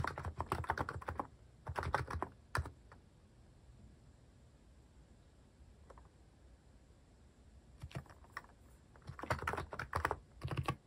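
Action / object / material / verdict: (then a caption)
tap / plastic mechanical keyboard / plastic / none. Fingertips type on a cream plastic-case mechanical keyboard with cat and paw-shaped plastic keycaps, pressing keys repeatedly. Quick bursts of soft, low clacky keystrokes fill the first few seconds, then a long near-silent pause broken by a single light tap. Typing resumes in clustered runs at the end.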